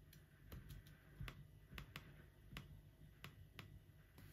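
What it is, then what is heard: Laptop keyboard with plastic keys. Fingertips type slowly on the plastic keys of an aluminum laptop, the right hand sometimes resting on the trackpad. Short, dry, spaced key clicks with bright tops sit over a steady low rumble, each tap fading almost at once.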